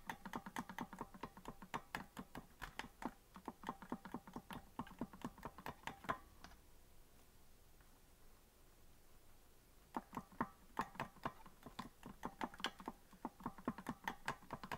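Fingertips tap the plastic keys of a hollow green plastic melodica that is not being blown, producing quick, irregular clicking with bright, short attacks. A run of tapping fades to a quiet pause around the middle of the clip, then the clicking resumes until the end.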